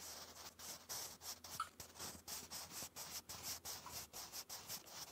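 A sharpened wooden graphite pencil, held in the fingers, writes in cursive on a lined grey paper notebook page. It makes a soft, continuous scratching with a bright, high hiss that swells and fades with each quick stroke, with almost no low end.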